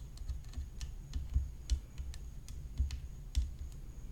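Long fingernails tap the hollow composite rim of a graphite composite tennis racket whose head is decorated with rhinestones. The result is an irregular series of quick, dry clicks with bright ticking tops and a soft, low hollow thump beneath, each dying away almost instantly over a faint low rumble.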